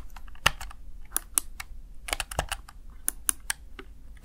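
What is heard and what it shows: Fingertips tap the keys of a Razer Tartarus Chroma plastic backlit gaming keypad in an irregular typing rhythm. Each press is a crisp, bright plastic click that stops instantly, over a faint low background rumble.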